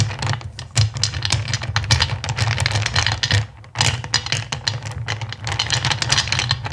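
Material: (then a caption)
Acrylic. Fingertips with long pink nails rake and rummage through a pile of small, solid, clear acrylic crystal-shaped gems in a black bowl. The gems clatter against each other in dense, bright, rapid clicks and rattles over a steady low hum, with a brief lull before the rummaging resumes.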